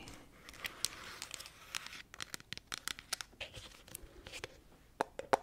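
Long acrylic nails tap and scratch the green plastic lid and sides of a medium plastic tub of honey that appears full. Quick, irregular clicky taps with bright, crinkly scratching in between fill the clip, with a few louder, sharper taps near the end.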